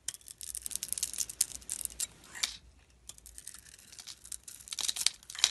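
A utility knife blade carves feathered curls off a solid, rounded-rectangle blue glitter bar soap held in the hand, revealing white soap underneath. Bright, dry, crinkly scraping comes in irregular short bursts with almost no low end, quieter near the middle and sharper at the end.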